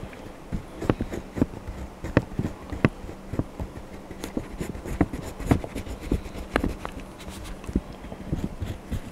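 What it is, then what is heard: Crayon rubbing on a paper page. A hand rubs a blue wax crayon across the Donald Duck page of an open paper coloring book on a desk. The result is a continuous, soft, scratchy rub with irregular sharp ticks and strokes over a faint low steady hum.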